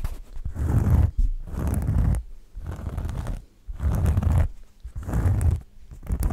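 A thin, flat oval cork board is held close to the microphone and scratched and rubbed with the fingertips. Repeated bursts of rough, papery scratching come in uneven strokes, dominated by a deep, muffled rumble with a faint bright hiss on top.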